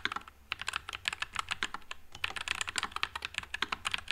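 Fingertips type continuously on a white low-profile Nuphy Air96 mechanical keyboard with Wisteria switches and plastic keycaps. A rapid stream of short, bright, crisp key clacks sounds with no ring, and the typing eases briefly around the middle.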